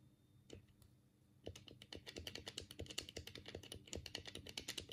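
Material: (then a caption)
Plastic. A black, hollow plastic Sega Mega Drive controller is held in both hands while the thumbs click its D-pad and buttons. A couple of isolated clicks come first, then from about 1.5 seconds a rapid, steady stream of sharp, bright plastic clicks follows, each dying away almost instantly.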